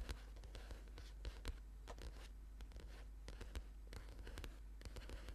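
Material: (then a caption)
Paper. Fingertips and short nails of both hands quickly tap and scratch the card cover of a thick paperback book lying flat on a purple mat. The result is a steady stream of soft, dry taps and scratchy scrapes with sharp, quick-fading clicks over a low, constant hum.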